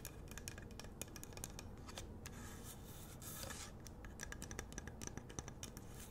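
Long nails scratch and tap the rough surface of a large, solid pink Himalayan rock-salt lamp with a wooden base. Quick, dry clicks with bright, crisp tops fire off in a rapid irregular series. A louder grainy scratching burst swells near the middle, all over a low, dull rumble.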